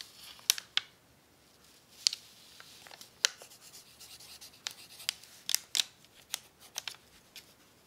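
A pencil tip writes on a crinkled, crumpled sheet of brown paper resting on a tablecloth. About a dozen sharp, bright scratches and crackles come in quick bursts over a faint papery rustle, with almost no low end. Each hit stops dead with no ring.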